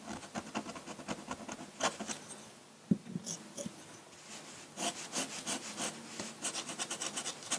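A metal dip-pen nib scratches across a large, flat sheet of white drawing paper in dense hatching strokes. Rapid bursts of dry, bright, raspy scratches come in quick rows, broken by a quieter stretch in the middle with one sharper tick. The strokes then resume, faster and more intense.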